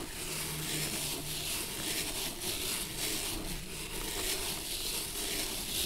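A bristle brush scrubs repeatedly across the dusty, worn leather sole of a single antique shoe held on its edge. The result is a steady, bright scratchy brushing with a faint low hum underneath.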